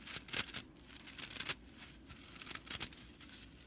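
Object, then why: Broomcorn straw whisk broom. Long fingernails scratch and flick the dry fibers of a broomcorn straw whisk broom's bristle fan. The result is quiet, dry, bright crackling and rattling in short, uneven bursts, with almost no low end and no ring after each stroke.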